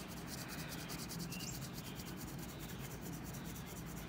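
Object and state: Paper sheet being coloured with pencil.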